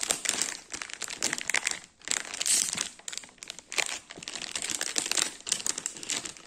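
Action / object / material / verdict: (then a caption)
scrape / cake wrapped in a plastic bag / plastic film / none. A large lemon ring cake in a clear plastic bag with a paper label is tapped and scratched with fingertips and nails on the bag and label. The result is a dense, bright crinkling of plastic in irregular bursts, with brief lulls near two and three and a half seconds.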